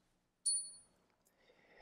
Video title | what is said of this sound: Fake Alert! - Superhero "Silver" Coins | it dies out a lot faster on the ring test